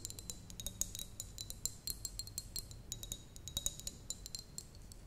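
Long nails tap rapidly and irregularly on a small, apparently empty clear glass jar with a metal lid. Each tap is a short, bright clink with a high, glassy ring that fades almost at once, over a faint low hum.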